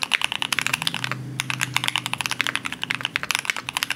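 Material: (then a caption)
Aluminum, plastic. Two hands type steadily on a compact green Cannonkeys Satisfaction75 mechanical keyboard with an aluminum case and plastic keycaps. About 25 crisp, bright keystrokes sound as sharp clacks with almost no ring, briefly pausing just after one second. A faint low hum is heard beneath the typing.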